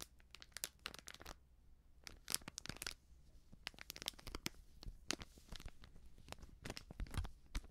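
Long nails crinkle and scratch a small, filled, sealed plastic-foil baking soda sachet with a crimped foil edge. Quick, dry, bright crackles and scratchy ticks come in dense bursts with brief pauses, all at a low level. A faint low hum sits underneath.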